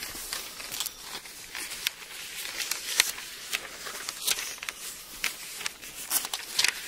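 An open Bible with thin paper pages is held in both hands while its pages are flexed and turned, then rubbed flat with the palm. The result is a steady bright rustle and crinkle, broken by sharp, brief crackling snaps as the pages bend and flip.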